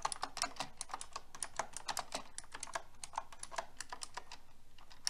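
Fingertips with long red nails type on a pink mechanical keyboard with round plastic keycaps. A steady, rapid run of crisp, bright clicks follows, each one dry and short with almost no ring.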